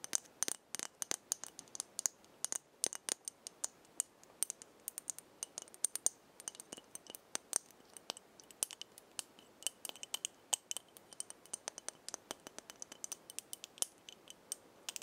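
A small, slim glass perfume roller bottle with a metal cap, partly filled with pink liquid, is held in the hand and tapped and scratched along its glass body with long painted fingernails. Dozens of quick, bright clicks and faint scratches sound irregularly throughout. Each tick dies away instantly, with no low end at all.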